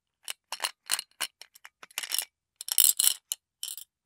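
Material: Glass.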